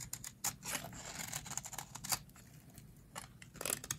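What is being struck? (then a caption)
Soap bar scraped with a metal blade. A metal blade scrapes crumbly shavings off the edge of a hand-sized, solid teal bar of dry soap held in the hands. Short, dry, bright scraping strokes come in quick bursts with a crisp, high hiss and almost no ring.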